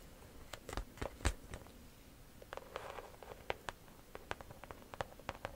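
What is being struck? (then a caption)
Croc-embossed leather handbag. Long nails tap and scratch the front panel of a small, structured pale-yellow handbag made of croc-embossed leather, with a chain strap on its side, while it is held in the hands. Quiet, dry clicking taps come in an irregular series, mixed with brief scratchy rasps. Each tap stops almost instantly over a faint low background hum.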